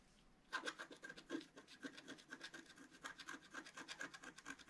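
A wooden stylus scratches a flat, black-coated paper scratch-art card in long strokes. After a brief quiet start, a quick, steady series of dry, rasping scrapes follows, each with a bright hiss and a faint thin whistle near 1.5 kHz. There is almost no low end.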